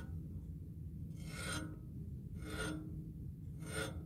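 Fingertips and nails scratch and tap the smooth coated surface of a black music stand tube lying on carpet. Soft, breathy rasping strokes come in slow, uneven swells over a steady low rumble.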